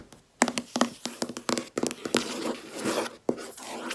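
Long red nails tap a large, solid, flat white laminate desk top in a quick series of sharp, dry clicks with a dull low knock beneath and almost no ring. Midway, the nails scratch and rub across the surface in a steady bright hiss before one more crisp tap and lighter scraping.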